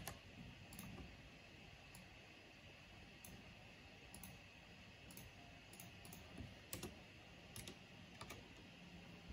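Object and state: Plastic mechanical keyboard.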